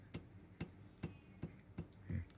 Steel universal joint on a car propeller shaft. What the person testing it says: kalau ada bunyi besi beradu Berarti udah rusak tapi kalau masih aman enggak ada bunyi besi beradu